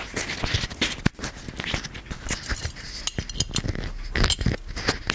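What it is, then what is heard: Gold-plated metal lamp. Fingertips and nails tap and scratch the embossed surface of a gold-plated metal magic genie lamp held close. A busy run of short, dry metallic ticks and clinks is mixed with bright scratching. Each tap dies away almost at once, with little ring.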